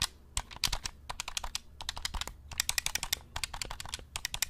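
A black hollow plastic game controller is held close to the mic while fingertips rapidly click and tap its buttons. The sound is a quick run of sharp, bright plastic clicks in uneven bursts with short pauses between. Each click dies away almost instantly over a faint low rumble.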